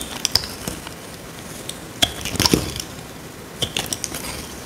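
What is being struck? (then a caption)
Bar of soap cut with a small metal blade. A dry, solid rectangular tan soap bar held in hand is cut and scraped with a small metal blade. It makes a series of crisp, dry crunches and sharp scraping ticks, bright and quick with almost no ring, separated by short quiet gaps.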